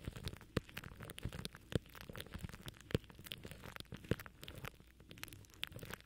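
Fingertips scratch and rub plastic cling film wrapped tight around a microphone head from the top. The result is a dense, irregular crackling and crinkling, with low rustle underneath and occasional louder, sharp pops standing out.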